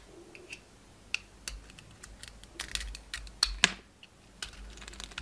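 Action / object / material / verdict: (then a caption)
scrape / soap bar scraped with a knife blade / soap / none. A utility knife blade shaves and scrapes the outer layer off a solid oval bar of soap with a red and black striped coating, held in the hand. Short, crisp, bright scraping clicks and scratchy flicks come at irregular intervals, with a few sharper snaps standing out over a quiet background.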